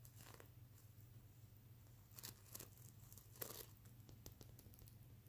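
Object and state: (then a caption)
Plastic sequin pillow. Fingertips brush, scratch and flip the reversible plastic sequins on a soft stuffed mermaid unicorn plush pillow. A steady low hum runs underneath bursts of crisp, bright, crinkly scratching and short clicks. The loudest flurries come in the middle of the clip.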